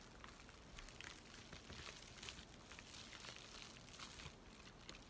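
A thin, empty white USPS paper mailing envelope is folded and crinkled in both hands while fingertips scratch its surface. The result is a steady, quiet, dry crackle of bright paper rustle, with small sharp crinkles popping out throughout.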